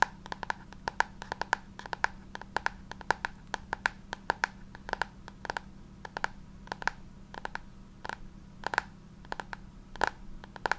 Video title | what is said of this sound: ASMR Talking About Books Again 📚 Book Triggers, Page Flipping, Finger Tracing | this book makes the best sounds especially because the cover is textured and of course because it's hard cover